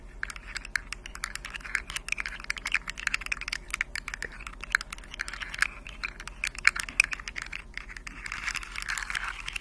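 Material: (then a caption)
Plastic. Long acrylic nails scratch and tap the hollow segments of a rainbow, segmented plastic articulated fidget slug toy held upright. The result is a steady stream of dense, dry, bright clicks and light scratches, with a few sharper taps standing out.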